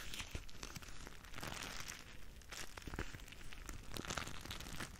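A clear plastic bag full of small red gel or water beads is held in front of a microphone and squeezed and crinkled with the fingers and long nails. The result is a steady, close crinkling with dense, bright plastic crackles and soft squishy crunches over a low handling rumble.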